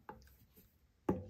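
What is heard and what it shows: A leather-hard clay pot is tapped on its base at the start of trimming, giving a few short, dull knocks with almost no ring. The flat, damped sound shows the wall is still thick.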